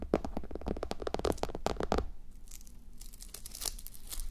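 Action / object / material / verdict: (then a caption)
scrape / fabric sleep mask covered in plastic sequins / plastic sequins / none. Long nails scratch a fabric sleep mask covered in plastic reversible sequins, resting on a white mannequin head. A quick run of crisp, crinkling scratches over a low rumble fills the first two seconds. Then it drops to quieter, airier brushing with a higher, hissy edge.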